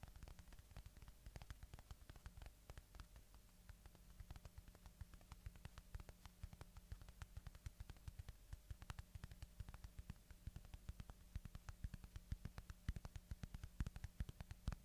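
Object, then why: Polyurethane foam squishy toy. Fingertips scratch and tap a solid polyurethane foam watermelon-slice squishy toy held close to the microphone, producing a quiet, rapid stream of soft, dry ticks and scratches. The short clicks die away almost instantly over a steady low hum.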